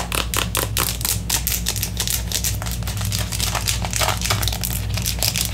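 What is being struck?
Soft plastic squeeze tube.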